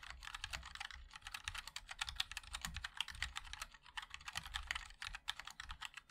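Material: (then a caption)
Aluminium, plastic. Fingertips of both hands type continuously on a 60% mechanical keyboard with a black aluminium case, white and black ABS plastic keycaps and linear switches. The result is a rapid, dense stream of short, bright clicky taps with a light low thud beneath them and no ringing after each keystroke.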